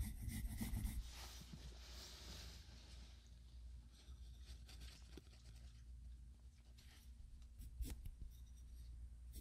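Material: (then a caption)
Paper. A wooden graphite pencil held in the fingers scratches and strokes across a spiral-bound paper sketchbook page lying flat on a wooden desk while drawing. Soft, quiet, irregular scratchy strokes and rubbing are heard over a steady low hum, with a few brighter scrapes standing out.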